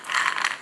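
Cooled honey-coated roasted cashews are moved around on a plate, giving a short, dry, crisp rattling crunch with energy in the mid and high range and nothing low. Two louder bursts stand out in the brief scrape, showing the nuts are crispy and crunchy.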